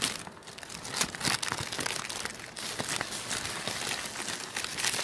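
A thin, loose sheet of black tissue paper is crinkled by fingertips, then bunched and crumpled by both hands. The result is a dense, bright, crackly rustle with sharp bursts around the first second, a softer stretch, then steadier, fuller crinkling to the end.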